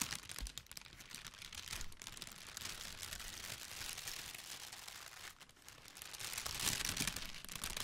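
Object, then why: Tissue paper honeycomb ball. Long pink nails and fingertips scratch and crinkle the folds of a large, pale pink tissue paper honeycomb decoration ball, hollow and light, held close to the microphone. The sound is a steady, dense, bright rustle of irregular crackles and crinkles, with a few louder swells and no distinct separate taps.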